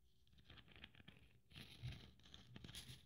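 Fingernails rapidly tap and scratch across the silver bead strands of a blue glitter Christmas ornament. The result is a quiet, dense patter of small clicks mixed with a crinkly, scratchy rustle, with bright glittery highs over soft low thumps. It grows louder and busier about halfway through.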